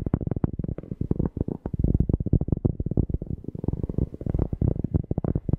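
A cork object is tapped rapidly and repeatedly close to a microphone. It makes a steady stream of deep, bassy, muffled thumps with almost no ring and nothing high or bright.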